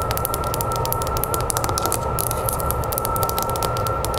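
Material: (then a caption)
Glass. Long nails tap rapidly on the glass of an oval mirror lying face up in a wooden frame. The result is a quick, continuous stream of bright, clicky taps over a steady hum and a low background rumble.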